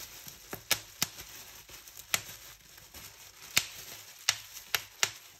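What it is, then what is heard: Plastic bubble wrap being popped. Fingertips and nails pinch a clear plastic bubble wrap sheet, popping its bubbles one at a time. Nine sharp, bright pops land at irregular intervals, each dying away almost instantly, with soft crinkling rustle of the plastic in between.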